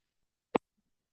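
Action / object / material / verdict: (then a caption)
tap / dancing shoe with metal plates / metal / none. A single short, sharp tap on a clog-style dancing shoe fitted with old metal plates on the sole. The click has most of its energy in the mids, centered around 440 Hz, and dies away almost instantly with no ring. A faint, low trace of sound follows shortly after.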